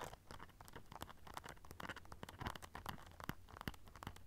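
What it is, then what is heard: Rhinestone-studded clutch pouch. Long nails scratch and tap the silver studs on a small black rhinestone-studded clutch pouch held in both hands. The result is a quiet, dense run of short, dry clicks and crinkly scratches with bright edges and a low rumble underneath.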